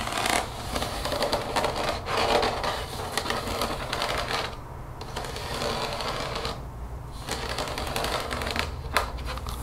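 Long fingernails tap rapidly on the body of a translucent plastic spray bottle that is partly filled with liquid and held upside down. The taps are quick, crisp, and clicky, with a hollow plastic tone centered around 1.2 kHz. The tapping runs nearly continuously, easing off briefly twice in the middle of the clip.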